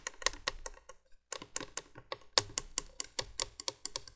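Long nails tap and scratch rapidly on the hollow cream plastic base of a 1980s plastic window candolier light lying flat. Quick, bright, dry clicks come in an uneven flurry with a brief pause near the middle, and each tap dies away almost at once.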